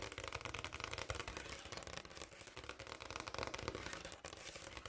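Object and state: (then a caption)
Granite countertop. Long black and pink almond-shaped acrylic nails on both hands rapidly tap and lightly scratch a large, solid, speckled brown granite kitchen countertop. The result is a dense, continuous stream of quiet, crisp, bright clicks and scraping, each dying away almost instantly with no ring.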